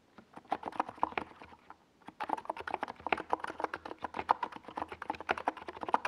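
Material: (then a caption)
Plastic. A compact 68-key NiZ Plum Atom 68 mechanical keyboard in a white plastic case with tall purple and yellow Domikey Gas Attack SA plastic keycaps, resting on a desk pad, is typed on with the fingertips of both hands. Rapid, hollow mid-pitched keystrokes clack in quick runs, with a brief pause near the two-second mark before steady typing resumes.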